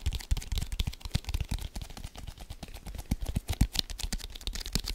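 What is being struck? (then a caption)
Leather American football. A full-size brown leather American football, hollow and inflated, is held in both hands and tapped and scratched quickly with fingertips and nails. The result is a rapid, irregular stream of dull, low thumps that die away almost instantly, mixed with bright, dry scratching clicks.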